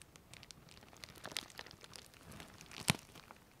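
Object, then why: Plastic postal mailer bag. A large flexible printed plastic Colissimo mailer bag, closed with contents inside and held up in both hands, has its surface scratched, rubbed and crinkled by long manicured fingernails and fingertips. Soft, bright crinkling and scratching run throughout, with a sharper crackle near the start and one louder, crisp crunch near the end.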